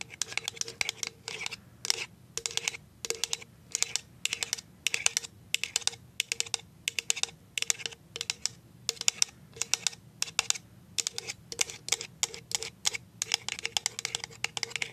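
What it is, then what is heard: Plastic jar tapped with nails. A clear plastic cashew jar with a label is tapped on its side with paper-clip nails. It makes rapid, bright, clicky taps in quick bursts, each dying away almost at once, much like typing on a keyboard.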